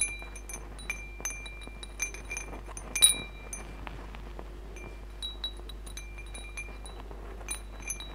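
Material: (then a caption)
Metal. A hanging wind chime of hollow metal tubes with glass crystal beads is strummed and pushed by hand so the tubes and beads swing and chime. Bright, ringing metallic tones and light glassy clinks sound in scattered strikes, with the loudest burst about three seconds in. A low, steady hum runs underneath throughout.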